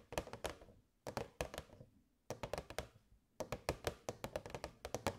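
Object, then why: Clear plastic box. Long nails tap the sides of a hollow, transparent plastic box with fairy lights inside. Quick, crisp clicks come in four rapid bursts separated by short pauses, each tap carrying a hollow, mid-pitched plastic tone around 550 Hz that dies away almost at once.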